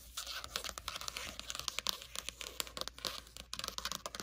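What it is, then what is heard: Paper notebook with card cover tapped and scratched. Long matte nails tap and scratch quickly on the matte card cover of a small red notebook, a solid stack of paper lying on a blanket. The result is a rapid, continuous run of crisp, dry clicks and papery scratches that is bright and high, with almost no low end and no ring after each tap.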